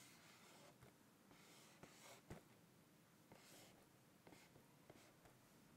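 A medium-sized printed cardboard rice puffs cereal box, hollow and seemingly full of cereal, lies flat on a checked tablecloth while fingertips and nails tap and scratch its front face. The result is quiet, soft scratching with a few short, dull taps that die away almost at once.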